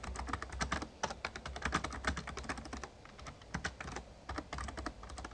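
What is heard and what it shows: Fingertips of both hands rapidly tap the keys of an RGB-backlit plastic Razer Ornata Chroma membrane gaming keyboard with a hollow casing. The result is fast, irregular typing of short, dry clacks with a muted low thump beneath, a midrange click near 1.2 kHz and a bright edge. There is a brief lull just before the three-second mark.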